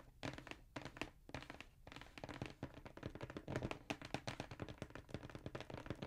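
Fingertips and nails tap the lid of a hollow black Jordan cardboard shoe box held upright. The taps are short and dry, with hollow low thuds and bright nail clicks. They start out spaced apart and grow into a dense, rapid patter.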